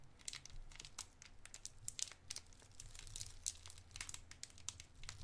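A small clear cellophane wrapper around a round white mint-like candy is held in the fingertips and crinkled and twisted. Dense, bright crackling and quick sharp snaps come and go over a faint low hum. Each crackle dies away almost instantly.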